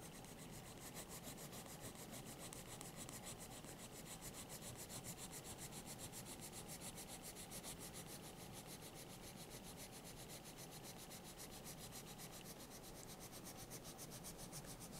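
A green colored pencil is rubbed steadily over the page of a thick paper sketchbook lying open, coloring in a shape. Quick, even back-and-forth strokes make a continuous soft, scratchy rasp with a bright papery hiss. The quiet texture stays steady throughout.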